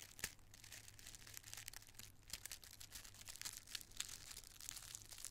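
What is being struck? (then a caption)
Thin tissue paper squares. A handful of thin, multicolored tissue paper squares is crushed in the fist and then rubbed between both palms. The result is a continuous, bright, dry crinkling and crackling with many sharp little snaps, over a faint low hum.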